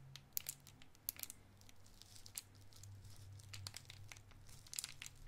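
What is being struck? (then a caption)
Cellophane candy wrapper. A small clear cellophane wrapper around a round white mint-like candy is held in the fingertips and crinkled and twisted. It gives sharp, bright crackles in scattered bursts, some louder snaps standing out over a quieter rustle. A low steady hum runs underneath throughout.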